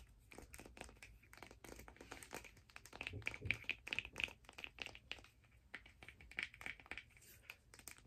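Long nails tap and scratch along a long turquoise hard plastic skate blade guard held in both hands, with a second guard lying still on the table. Dense, quick, bright clicks and crinkly scratches run throughout, each dying away almost at once.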